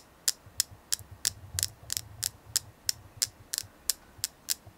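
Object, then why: Selenite crystal. A selenite crystal is tapped 15 times in a steady rhythm, roughly three taps per second. Each tap is a short, bright, high-pitched click that dies away almost instantly, over a faint low hum.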